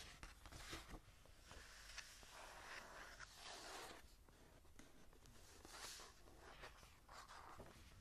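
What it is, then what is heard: Paper journal page. Long nails scratch and tap on the blank, lined cream paper pages of a journal lying open. Quiet, papery scratching sweeps in bright, hissy bursts, broken by soft taps over a steady low rumble.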